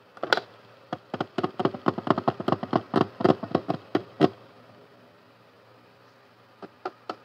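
Fingertips and nails tap the lid and sides of a medium, transparent plastic storage box with a blue handle and latch, filled with pink toy parts. A quick run of short, dry, hollow clicks comes for about four seconds, then a pause and a few last taps.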